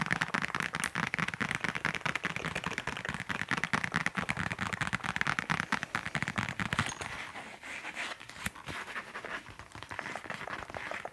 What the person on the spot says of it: 11:50 Tapping on leather